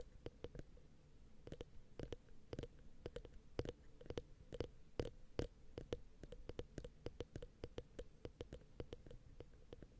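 Long painted acrylic nails tap and scratch the two small cylindrical ribbed metal mic capsules of a Zoom H6 XY head on a black recorder. The result is a quiet stream of rapid, irregular sharp clicks with a bright edge, over a low, muffled rumble with a faint ringing tone near 470 Hz.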